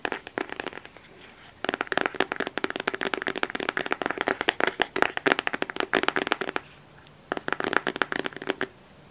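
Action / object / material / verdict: tap / cardboard eyeshadow palette / cardboard / none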